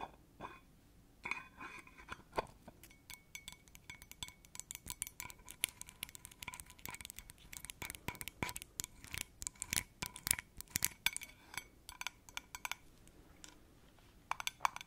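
Long acrylic nails tap and scratch the lid and rim of a small, round, yellow metal cream tin. The result is a quiet, dense stream of sharp, bright clicks and clinks, with a faint metallic ring around 1 kHz and scratchy rasps between the taps. The taps bunch most thickly in the middle before thinning out.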